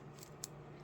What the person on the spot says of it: These are wood. This is painted wood. I mean, it sounds like wood.